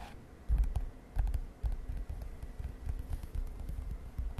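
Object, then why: Lined paper page of a spiral notebook. Long nails tap on a lined paper page of an open spiral notebook lying on a bed. Soft, low, dull taps with quick, muffled thumps and faint papery clicks fall in an uneven rhythm over a quiet hiss.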